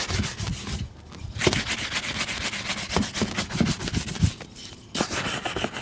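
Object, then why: Leather boot and bristle brush. A brown leather boot is brushed with a bristle shoe brush, giving rapid back-and-forth scratchy strokes with a bright rustling hiss. Two short pauses break the brushing, which then resumes at the same steady pace.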